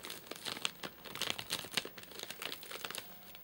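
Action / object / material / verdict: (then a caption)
scrape / plastic-film wrapper of a snack bar package / plastic film / none. Fingertips and short nails tap and scratch the top of a flat, sealed white plastic-film and paper-laminate nougat bar package with crimped edges, full of nougat bars and lying on a sofa. The result is a quick, irregular run of bright, dry crinkles and ticks that stop instantly, with almost no low end.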